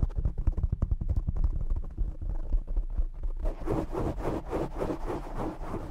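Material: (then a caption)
Foam. Short nails and fingertips scratch, grip and rub a black foam windscreen on a desktop microphone. The result is a deep, boomy rumble of rapid, irregular crackling scratches. After about three and a half seconds it turns into a steadier, brighter rubbing with more midrange hiss.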